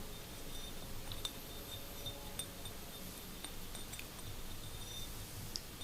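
A small glass vase is tapped with fingernails, giving light, glassy clinks with a high ring around 3.6 kHz over a low background rumble. About six taps stand out, each fading almost at once.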